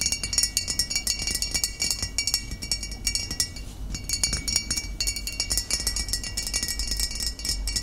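Fingernails tap rapidly on a glass bottle, producing a steady stream of clear, bright clinks with short, quickly fading rings over a faint low rumble. The tapping briefly softens near the middle before picking up again.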